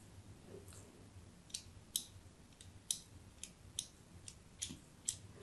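A thin metal blade scores diagonal grid lines into a solid white embossed soap bar held in the hand. About ten short, crisp, bright scraping clicks sound at uneven intervals, each ending almost at once. They play over a quiet, faint low background hum.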